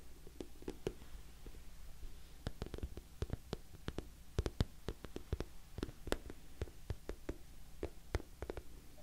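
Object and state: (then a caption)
Patent vinyl bag. Long nails tap the sides of an orange glossy patent vinyl cosmetic bag that has a zipper and appears filled. Many short, sharp, bright clicks come in an irregular rhythm, each dying away almost at once, over a steady low hum.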